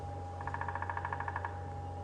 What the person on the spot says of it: a bearded woodpecker making its territorial tap